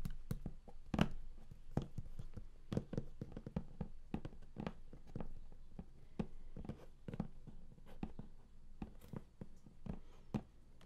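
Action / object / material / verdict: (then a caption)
tap / large flat cardboard box / cardboard / none. Fingertips tap and scratch the lid of a large, flat, closed and hollow cardboard game collector's box. Quiet, dull, hollow thuds around 180 Hz stop almost at once, with soft scratching between the quick, irregular taps.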